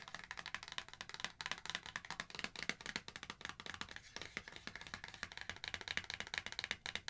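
Long acrylic nails tap rapidly on the front face of a small, thin, flexible laminated foil and paper sachet of avocado hydrating eye mask held in both hands. The result is a steady run of crisp, dry clicks and light crinkles, bright and high with almost no low end, each tap dying away almost instantly.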